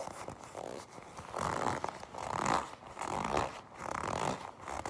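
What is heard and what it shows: A black leather jacket is gripped, tapped and scratched with long pink nails. Soft, slow rustling and creaking swells rise and fall in repeated waves, centered in the mids around 1 kHz, with light scratchy texture in between.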